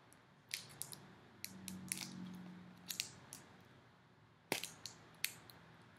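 Long nails tap and scratch the clear plastic lid of a small round slime tub filled with foam beads. Sharp, bright clicks are scattered over a quiet background, with a soft, low scraping hum in the middle and a strong tap near the end.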